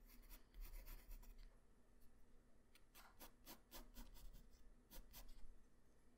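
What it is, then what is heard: Pencil drawing on paper. A graphite pencil tip draws detail lines across a flat white paper sheet, making soft, dry scratching strokes that come in short bursts. Each stroke carries a faint bright rasp over a low, quiet background.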